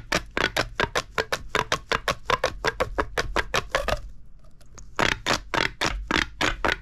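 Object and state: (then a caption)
Plastic pop tube toy. A hollow purple corrugated plastic pop tube, held in both hands over a wooden table, is compressed and extended so its ridges click and pop. About 29 sharp, bright clicks come in a fast, steady run, pause briefly around the four-second mark, then resume. Each snap is short and dry with almost no ring.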